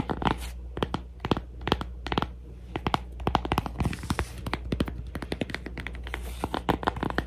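A cork coaster is tapped and scratched, giving a quick series of short, dry taps with brief crackly scratching between them. The taps die away almost instantly over a steady low hum.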